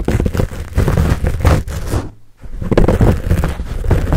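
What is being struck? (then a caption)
Foam microphone windscreen. Palms cup and squeeze a fuzzy black foam windscreen on a Blue Yeti microphone while fingertips scratch it, producing a dense, muffled, low-heavy rustling crackle. The scratching drops to near silence for a moment just past the midpoint, then resumes as loud as before.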